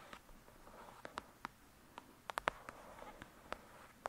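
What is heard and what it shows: Long pointed nails tap and scratch on the glossy paper front cover of a thick paperback novel, Lady Midnight, with a solid block of pages. About twelve quiet, sharp clicks centred near 1 kHz stand out, with a soft, steady scratching texture between them and no ringing after each tap.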